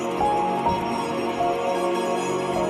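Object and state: Nothing is struck.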